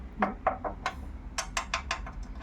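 A ring taps ten times against a metal chair frame to show that the frame is metal. Each tap gives a short, bright metallic tick with a brief ring around 760 Hz, in two uneven runs separated by a short pause.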